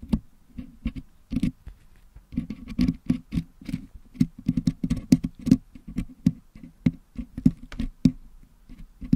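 A wooden toothpick picks and scratches at the metal mesh grille of a Blue Yeti microphone, held in one hand, to clear out the red and green putty packed into it. The result is an uneven patter of short, dry taps and scrapes, each with a soft low-mid thud and a faint bright click that dies away instantly with no ring.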